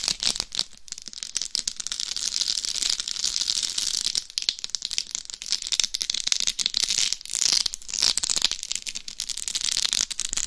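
Long acrylic nails scratch and tap the rhinestone-covered top of a life-size hollow mannequin-head binaural microphone, its surface studded with small glued rhinestones. The result is a dense, bright, crackling rattle of fast clicks and scrapes with almost no low end. Each tap dies away instantly, with short quieter pauses between bursts.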